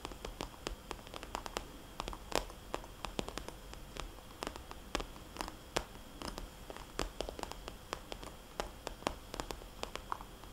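Long dark-painted nails scratch and tap a small red polka-dot glossy plastic cosmetics bag lying on its side. Many quick, sharp, bright clicks and crinkly scratches sound over a steady low hiss, with no lingering ring.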